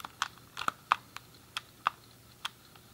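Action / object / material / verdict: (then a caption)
tap / plastic game controller buttons / plastic / none. A grey, hollow plastic SNES game controller is held in both hands while fingertips and thumbs click its colored face buttons and D-pad. Nine short, dry plastic clicks come at an uneven pace, each snapping sharply around 1.2 kHz with a bright edge and almost no ring.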